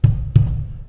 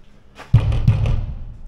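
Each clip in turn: First: Two low, muffled knocks around 105 Hz with no bright ring mark the container as full. Second: Two low, booming knocks around 110 Hz with a hollow, drum-like body point to an empty booth or container.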